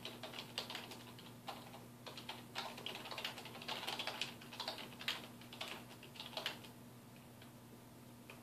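Fingertips of both hands type rapidly on a black plastic computer keyboard resting on a wooden desk. Quick, bright key clicks come in uneven bursts over a faint, steady low hum, with each tap dying away almost at once.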